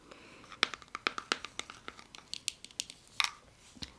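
A small round plastic jar of clay mask, with a screw lid and a paper-like label, hollow with product inside, is cupped in both hands and tapped and scratched with fingernails. Around nineteen quick, bright, dry clicks and scratchy crinkles sound in an irregular rhythm. Each click dies away at once, with almost no low end.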